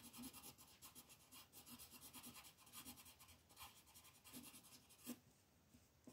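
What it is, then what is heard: Colored pencil shading on paper. A pink colored pencil is rubbed back and forth to shade a flat white paper mandala sheet lying on a table while the other hand holds the sheet. Quiet, dry, scratchy strokes repeat in a steady rhythm with a bright papery hiss. Near the end a sharper scrape stands out before the shading grows softer.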